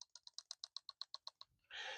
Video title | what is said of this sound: Montana Knife Company Mini Speedgoat 2.0 - A Featherweight EDC Fixed Blade | You can hear it definitely rattles a bit. And it did not do that when it had the paracord wrap.